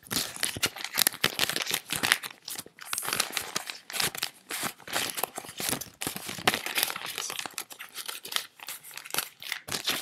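A handful of paper US dollar bills is crinkled, squeezed and fanned by both hands, with fingertips and long nails working the notes. The result is a dense, continuous run of crisp, bright crinkling and rustling in quick irregular bursts, with almost no low end and no ringing after each movement.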